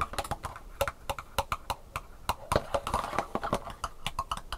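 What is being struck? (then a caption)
Thin molded plastic sushi tray. Long painted fingernails tap quickly on the round raised compartment bumps of an empty black plastic sushi tray made of thin, hollow-molded plastic and held in hand. The result is a rapid, uneven run of dry, hollow clicks with a faint tone near 600 Hz and almost no ring after each tap.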